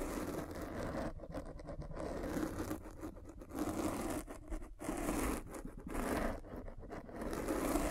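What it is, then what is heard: Foam microphone cover. A metal-spiked derma roller is rolled back and forth across a black foam windscreen on a microphone. It makes a dense, scratchy crackle over a low rumble, coming in passes broken by brief quieter gaps.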